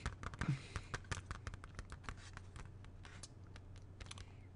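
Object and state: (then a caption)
Plastic CD jewel case. Fingertips tap rapidly on the cover of a closed plastic CD jewel case held in both hands. The taps come as quick, uneven, sharp clicks with bright edges that stop almost at once, over a steady low hum. The tapping is loudest near the start and grows softer and denser toward the end.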